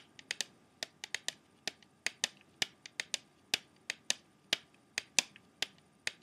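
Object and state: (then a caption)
Plastic CD jewel case. An open plastic CD jewel case, held in one hand, has its clear plastic tray tapped quickly with the fingertips and short nails. About 22 sharp, bright clicks come in an uneven rhythm, each dying away almost at once, with no low end and a faint steady hiss underneath.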